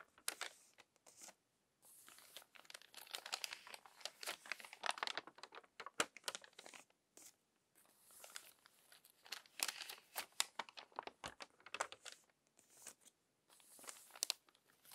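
A hand with long nails turns the crinkly pages of a crumpled paper magazine, producing dense bursts of bright, dry crackling and rustling with almost no low end. The crinkles come in clusters separated by brief pauses, each snap dying away almost instantly.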